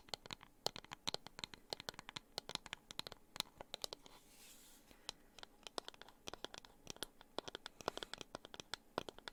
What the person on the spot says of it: the sound of scratching and tapping on wooden objects